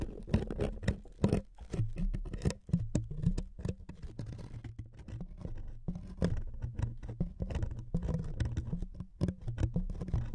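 Fingernails scratch and tap across the surface of a thin wood veneer sheet resting on two microphones. The result is a dense, rapid patter of dry, close scratches with a heavy low-end thump and a faint steady low hum underneath, over quiet pauses.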